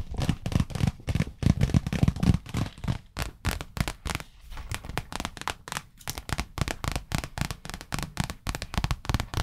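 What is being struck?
Small clear acrylic box.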